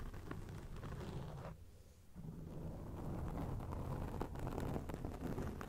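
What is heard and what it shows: Long acrylic nails scratch a round grey foam windscreen on a microphone, making a dense, rumbling rustle that sits mostly in the low range with scattered brighter crackles. The scratching softens briefly just before the two-second mark, then returns steady and a little louder to the end.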